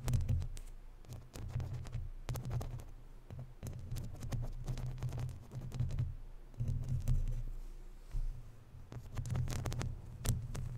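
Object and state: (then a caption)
Metal mesh microphone grille, scratched and tapped. Long natural nails scratch and tap the sides of a hollow, round woven metal mesh microphone grille. The sound is a dense run of low, rumbling thumps with brief, bright scratchy crackles layered on top, each tap dying away almost at once.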